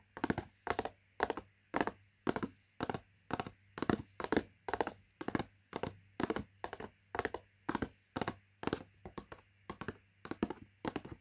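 Long nails and fingertips tap the front of a closed, filled Latkes mix box of thin printed cardboard, medium size, lying flat on carpet. Quick, dry clusters of taps come in a steady rhythm, each dying out almost instantly with no ring, over a faint low hum.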